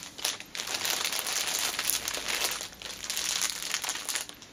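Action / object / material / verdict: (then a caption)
scrape / cellophane-wrapped fabric pouch / cellophane / none. Fingertips with teal nails press, scratch and crinkle the clear cellophane sealing a flat orange Nails Inc fabric pouch lying on a cushion. The result is a near-continuous, bright, crackly crinkling that swells and fades in bursts, with almost no low end.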